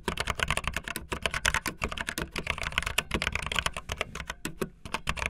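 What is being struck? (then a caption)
Plastic membrane computer keyboard. Fast typing on a full-size backlit plastic Bluetooth membrane keyboard with white and blue plastic keycaps and a hollow plastic body, the keys pressed with fingertips and the tips of long painted nails. A rapid, steady stream of short, dry, bright clicks sits over a soft, hollow low thud, with no ringing between keystrokes.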